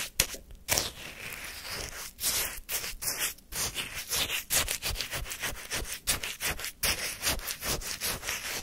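A wooden spoon repeatedly scrapes and lifts crunchy orange shaved-ice sorbet from a paper cup held in hand. The result is a run of bright, gritty scraping strokes with crackly granular texture and short pauses between them.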